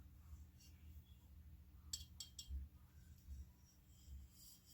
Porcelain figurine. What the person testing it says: Just by the sound when I tap him, I know he is high quality